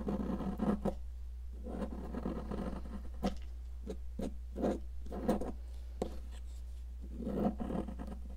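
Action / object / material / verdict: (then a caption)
scrape / cast chalk block / chalk / none. A metal sculpting tool scrapes a solid yellow popsicle-shaped cast chalk block, partly carved away and held with long nails. Gritty scraping bursts alternate with short, sharp scratchy ticks over a steady low hum, and crumbly chalk chunks break off.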